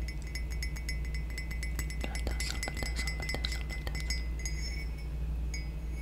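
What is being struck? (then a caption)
Glazed ceramic mug. A hollow, grey metallic-glazed ceramic mug with a handle is held close to the mic and tapped quickly with long nails, making a steady run of light, glassy clinks. Each tap rings briefly with a clear tone near 2 kHz and bright high overtones. A constant low hum sits underneath throughout.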